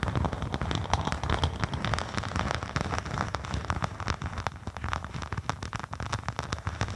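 A thin faux snakeskin synthetic leather sheet, draped over a binaural microphone, is scratched with the long acrylic nails of both hands. The result is a dense, continuous crackle of short scratchy clicks over a heavy low rumble, sounding almost like rain on a surface.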